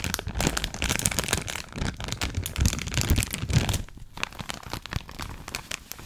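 A full clear plastic bag of cotton rounds is held up close while long acrylic nails scratch, squeeze and crinkle the plastic. Dense, dry crackling and rustling come in irregular bursts with a soft low thump underneath, louder through the first four seconds and then quieter.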